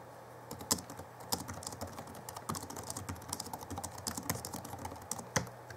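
Fingertips type on the backlit chiclet keyboard of a 2011 Alienware M11x R2 laptop with plastic keys. The result is a steady stream of quick, light clicking key taps with short, dry decay, with a few sharper, louder taps standing out over a faint low hum.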